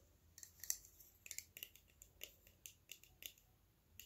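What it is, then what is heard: Small metal cylinder tapped. A small, likely hollow, silver metal cylindrical bottle held in both hands is tapped with fingertips and fingernails, making 12 quiet, bright, clicky taps at an uneven, slow pace. Each tap is crisp and high-pitched and dies away almost instantly with no ring, over a faint steady background hiss.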